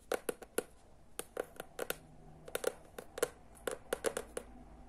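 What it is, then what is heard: Hardcover book tapped with nails. Long nails tap and scratch rapidly all over the cover of a teal hardcover book. About twenty short, dry clicks land in uneven bursts over a faint scratching hiss, each with a brief hollow knock near 460 Hz.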